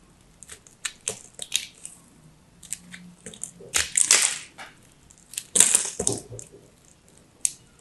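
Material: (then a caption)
Soap. A solid teal chunk of dry, crumbly soap is held in the hand and cut with a craft knife, and crumbs fall off. Crisp, bright crunching and crackling scrapes come in a series of short bursts, with a few louder, longer crunches. The sound sits almost entirely in the high range, with very little low end.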